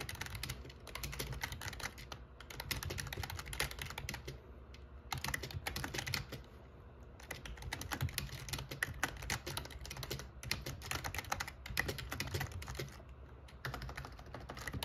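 Fingertips type steadily on the black plastic keycaps of an RGB plastic membrane gaming keyboard with a metal plate, producing a dense stream of short, bright clicks and clacks that stop almost instantly. Brief pauses break the typing near 4.5, 7 and 13 seconds, and a low rumble runs underneath throughout.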